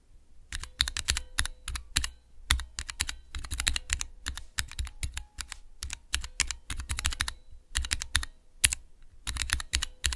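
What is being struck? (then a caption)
Plastic keycaps on mechanical key switches. Fingertips press the keys of a small Cherry MX mechanical switch tester with clear plastic, transparent keycaps. Dozens of quick, bright clacks come in rapid bursts and short pauses over a soft low thump, each one dying away almost instantly.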